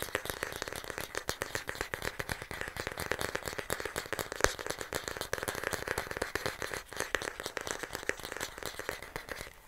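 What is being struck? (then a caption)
Wooden paddle hair brush back. Fingernails rapidly tap and scratch the smooth, solid wooden back of a light wooden paddle hair brush held close. The result is a dense, continuous stream of dry, crackly clicks and scrapes with a mid-pitched woody tone and bright edges. Each click dies out almost at once.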